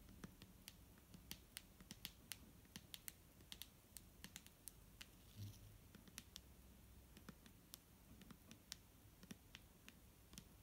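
A clear plastic micellar water bottle filled with liquid is tapped with fingertips and nails. It gives a quiet, irregular stream of short, sharp, bright clicks that stop almost at once, over a steady low rumble. A single soft, duller knock comes about halfway through.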